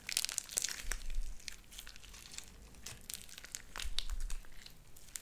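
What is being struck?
Sticky slime with small beads.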